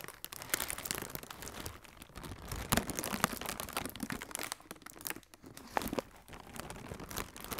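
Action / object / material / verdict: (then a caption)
scrape / plastic air cushion packaging / plastic / none. Fingertips with red-painted nails squeeze and crinkle a hollow strip of blue plastic air cushion packaging. The result is a dense, continuous run of bright, papery crackles and crunches, with a few sharper, louder pops standing out from the rustle.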